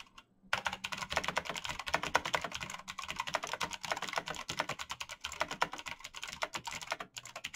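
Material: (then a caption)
Plastic. Fingertips in fingerless gloves type fast on a black plastic mechanical keyboard with clicky switches. After a brief quiet start, a rapid, steady stream of sharp, bright clicks and clacks fills the clip, with a short pause near the end before the typing resumes.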